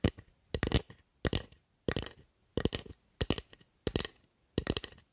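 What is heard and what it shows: Long acrylic nails scratch and tap along the handle and blade of a solid wooden spatula held in both hands. Eight quick bursts of dry, crisp clicks and scrapes come at a steady pace with brief silences between them. Each tap is short and woody, with bright nail edges and almost no ring.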